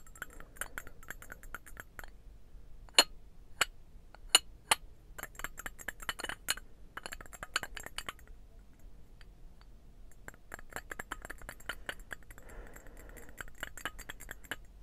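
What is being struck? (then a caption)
Small ceramic birdhouse box. A small, hollow, painted ceramic birdhouse box is held in both hands and tapped with the fingernails, giving bright, quick clinking taps. Runs of fast light taps come in bursts, broken by a few louder, sharper clinks early on and a short quiet pause in the middle. Each tap dies away almost at once, leaving a quiet background between bursts.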